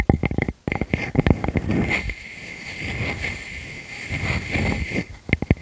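Long fingernails scratch the flat surface of a solid round wood slice with tree rings, held against a furry windscreen. Quick scratchy strokes at the start and end frame a longer stretch of steady rubbing with a heavy low rumble and a thin bright hiss on top.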